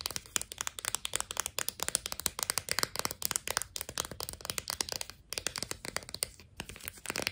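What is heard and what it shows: A plastic-and-cardboard blister pack of sidewalk chalk is turned in the hands and tapped quickly with long nails. Dense, bright, dry clicks and crinkly plastic taps run throughout, with brief dips in the tapping near the middle and end.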